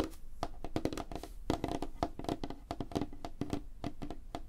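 Fingertips and nails tap rapidly on a flat, solid, light wooden tabletop. Each tap is a short, dry knock with a low, hollow body around 300 Hz and almost no ring. The taps come in a quick, uneven stream.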